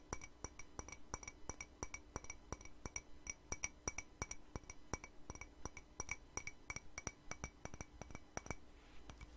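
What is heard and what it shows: Long nails tap the rim and body of a hollow, empty white ceramic mug in a quick, steady series. Each tap is a short, bright clink with a faint ring that dies almost instantly, over a low steady hum.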